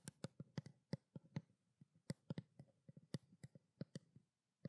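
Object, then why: Small plastic skincare water bottle. A small hollow white plastic bottle of skincare water is tapped with long black nails in a quick, uneven series of soft, dry clicks. Each tap has a hollow low thump near 156 Hz with a faint bright tick on top, and dies away almost instantly.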